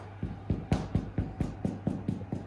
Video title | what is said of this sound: Jen sourdough | make some nice hollow sound to end it when you tap on it and that tells us it makes it good